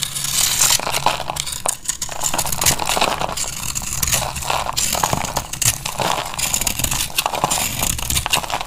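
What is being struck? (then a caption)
Bar of soap cut with a knife blade. A utility knife blade shaves and cuts crunchy flakes off a solid rectangular bar of dried purple (lilac) soap held in one hand. The result is a steady run of dry, crackly scraping and crunching with a bright, hissy edge and a light low rumble beneath.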